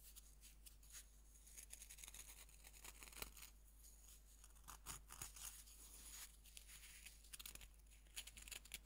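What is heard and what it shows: A fist-sized solid pink bath bomb of pressed powder is held in both hands over a wooden board while fingertips rub and crumble its surface. The result is quiet, dry, bright scratching and gritty crackling with short crisp bursts, over a steady low hum.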